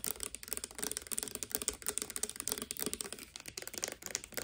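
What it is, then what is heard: Plastic pump bottle tapped with nails. Long, dark-painted nails tap fast on a hollow, hand-sized clear plastic Garnier Fructis hair serum bottle with a green pump, partly filled with clear liquid. About two dozen quick, dry, bright clicks run together with almost no ring, like rapid typing.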